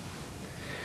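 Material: Nothing is struck.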